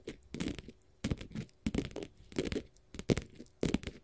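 A flat, solid blue glitter faux leather sheet is scratched and tapped with long gold metal finger-jewelry nail caps. Irregular bursts of dry, crackly scraping and soft tapping come and go in short clusters, with a low, dull body and little high-end sparkle. Each burst stops almost at once, with no ring.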